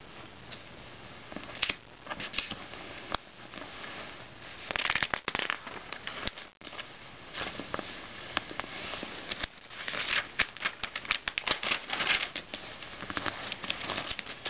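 Fingertips rub and flip the thin pages of an open glossy paper magazine lying on a bed. Dense, bright crackling rustles and sharp paper snaps come in quick bursts, with a short pause near the middle, and almost no low end.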